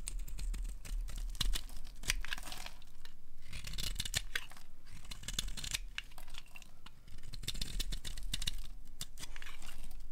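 A metal blade scrapes along the edge of a solid, bright green, rectangular bar of dry soap held in the hand, peeling off fringed shavings. The result is a dense run of crisp, dry scratching and crumbly tearing strokes with bright, hissy detail over a faint steady low hum.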